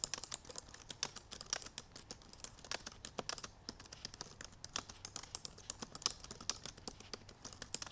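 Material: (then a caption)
Plastic. Long purple nails tap rapidly across the black plastic keys of a silver aluminum MacBook Pro laptop keyboard while typing. The result is a steady stream of quick, dry, bright clicks with almost no ring, at a quiet level with little low end.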